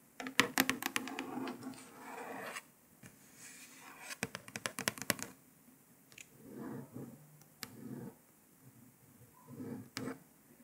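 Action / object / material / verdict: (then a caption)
tap / paper sticker on a plastic laptop lid / paper / none. Long nails tap and trace over a printed paper sticker stuck on a grey laptop lid, giving sharp clicking taps in bursts between soft, dry scratching strokes. The taps are bright and die away almost instantly, while the tracing adds a papery rasp.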